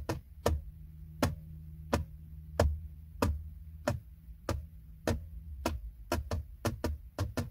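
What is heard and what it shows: Fingertips and short nails tap, scratch and rub a flat, hollow, textured silver plastic center console trim panel beside a car's gear selector. About 16 sharp, short clicks land at an uneven pace, each with a dull low-end knock and a quick decay over a faint steady low hum.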